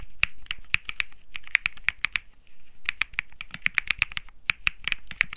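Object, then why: Mechanical keyboard with aluminum case and plastic keycaps. Fingertips type on the plastic keycaps of a compact Think 6.5 mechanical keyboard with Bsun Lollipop, an aluminum case and PC plate, its power knob lit and cable attached. Sharp, bright, clacky keystrokes come in an uneven typing rhythm, each centered around 2 kHz with a short low thump underneath. Every stroke cuts off almost instantly with no ring.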